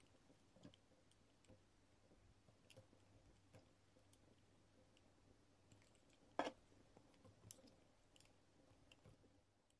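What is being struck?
Bar of soap cut with a metal blade.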